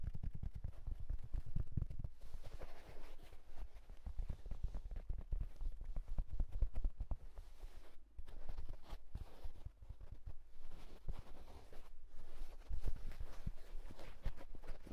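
A houndstooth wool tweed fedora lying on a bedsheet is scratched and rubbed quickly with fingertips and short nails across its hollow fabric crown. The result is a dense, continuous stream of soft, dull scratching and tapping with a low, muffled body and short, dry decays. The level shifts slightly in brief bursts and pauses.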